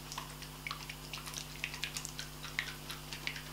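A small plastic two-part skincare vial is shaken after its button is pressed, dropping vitamin C powder into the liquid so the contents mix into an oil. Quick, bright, scattered ticks and light rattles from the contents sound over a steady low hum.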